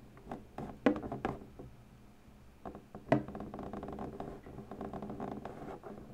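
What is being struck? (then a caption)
Inflated latex balloon. Long pointed natural nails press, tap and scratch the surface of an inflated, hollow purple latex balloon, denting the latex. Soft irregular taps and squeaky rubbing scratches are heard, with two sharper, louder taps standing out. The sound is mostly low-to-mid in tone with brief, dry decays.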